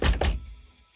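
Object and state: Hollow-sounding, not fully seated gas check.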